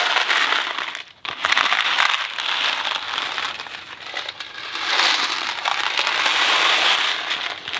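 A Kraft macaroni & cheese cardboard box with dry pasta inside is held in one hand and shaken while moving. The pasta gives a dense, bright, crackly rattle that runs nearly continuously, with a brief pause just after the first second and then rising and falling swells of shaking.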